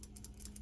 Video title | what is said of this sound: Pearl Flexi Open Comb Razor -- PAA Miami Libre Shave Soap -- #matthewshaves | the little retaining spring that holds this knob down, if you shake it, you can hear it rattle